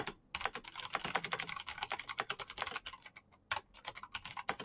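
Fingertips with short painted nails type fast on a black plastic mechanical keyboard with clicky switches. A quick, steady stream of bright, sharp clicks runs through the clip, with a brief pause at the start and another just past the midpoint before the typing resumes.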